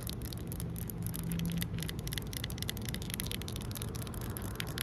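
Fingertips and long nails scratch and rub across a large, solid outdoor concrete ledge, making quick, bright scraping strokes that repeat steadily. A constant low rumble sits under the scratching throughout.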